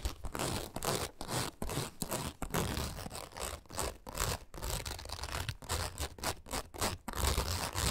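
Long acrylic nails scratch quickly across the taut nylon mesh window, set in a padded fabric frame, of a parrot travel backpack. The result is a steady run of dry, rasping scratch bursts with short silent breaks between strokes. A soft, low rustle sits under the bright, papery texture.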